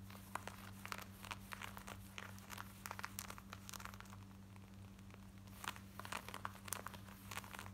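Long nails scratch fast over the hip and back pocket of worn black denim jeans, making quick, dry, crinkly bursts of bright scratching in an uneven stream. A steady low hum runs underneath the whole time.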